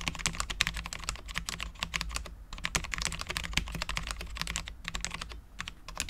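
A full-size Cherry MX10.0 low-profile mechanical keyboard with Cherry LP switches, dark ABS keycaps and a steel plate is typed on continuously with the fingertips of both hands. Rapid, sharp, bright key clacks die away almost instantly, over a steady low hum.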